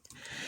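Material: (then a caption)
Plastic. A plastic pointer tool taps the rear body, the fertilizer tank section, of a 1:64 scale Greenlight 1982 Chevy C-60 fertilizer truck model. It makes a faint, light, high-pitched click centered around 3 kHz, with almost no low end and a very quick decay. The dull, short tick reveals the part as all plastic rather than metal.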